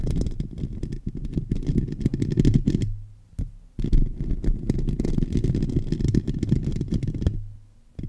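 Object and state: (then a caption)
Metal microphone grille scratched. Fingertips and short nails of both hands scratch directly on the domed, hollow metal mesh grille of a silver USB condenser microphone on a stand, over the capsule. The result is a dense, boomy, low-heavy rustling and crackling with almost no high end, interrupted by two brief pauses where only a steady low hum remains.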